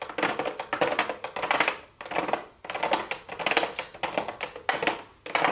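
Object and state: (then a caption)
Cardboard box with plastic window, nail tapping. Long blue acrylic nails tap rapidly on a small, hollow pink cardboard makeup box with a clear plastic window lid. The result is dense bursts of bright, clicky taps that come in several clustered waves and fade briefly between them.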